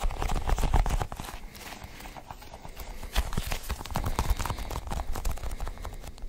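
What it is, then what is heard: Sticky rubber ball toy. A cluster of colored, sticky rubbery balls held in one hand is squeezed and pulled by the fingers. A rapid, irregular stream of soft, sticky clicks and pops is heard, dull and weighted toward the low end, with short bursts that die away almost instantly.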